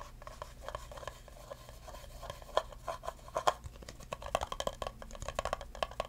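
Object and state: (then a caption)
Empty plastic cup. Fingertips rub and tap the rim and sides of an empty clear plastic cup held sideways. Soft scratchy rubbing is broken by quick, light taps with a short, hollow ring around 1 kHz and a little bright edge. The taps grow busier and louder toward the end.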